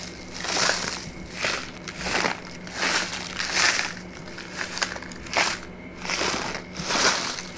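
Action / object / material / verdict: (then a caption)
scrape / kraft paper pouch / kraft paper / none. A brown kraft paper pouch with a white label, held upright in one hand, is squeezed and crinkled with the fingers. Dry, bright crinkling and crackling rise and fall in repeated swells, with a faint steady hum underneath.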